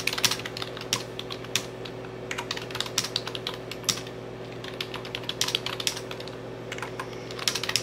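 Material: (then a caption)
Plastic. Fingertips with painted nails tap and type rapidly on a full-size plastic computer keyboard with dark plastic keys and an orange Enter key, lying flat. Quick, bright, clicky keystrokes come in uneven bursts, each dying away almost instantly, over a faint steady low hum.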